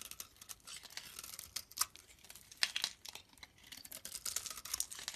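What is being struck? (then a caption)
Olive-oil soap bar. A blade scrapes flakes off the top of a solid green olive-oil soap bar held in the palm. The result is a quiet run of dry, crinkly scraping strokes, bright and hissy with almost no low end, with a few sharper crackling bursts along the way.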